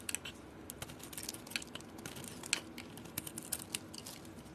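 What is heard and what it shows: A utility knife blade scrapes and carves shavings off a palm-sized solid purple soap bar with a copper-painted surface, held in the hand. Quiet, crisp, bright scratching and ticking clicks come at an irregular pace over a soft hiss, each snap dying away almost instantly.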